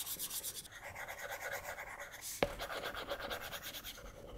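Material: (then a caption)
Glass. A plastic stylus nib rubs and taps across the flat glass touchscreen of an iPad tablet in short drawing strokes. Quiet, rhythmic scratchy swishes with a bright, hissy edge repeat throughout, with one sharper tap standing out near the middle.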